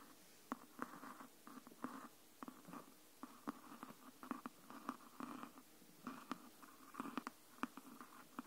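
Long nails scratch and tap along the spine side of a hardcover "Anne of Green Gables" book. Quiet, soft scratching bursts with a low-mid body come in waves, punctuated by short, sharp clicks that die away almost instantly.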